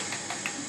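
Light taps on the bottom of a thrown clay pot being trimmed on the wheel, checking its thickness after measuring with a needle, give faint, short, bright knocks over a steady high hiss. The bottom sounds solid, meaning enough clay is left that more could be trimmed off.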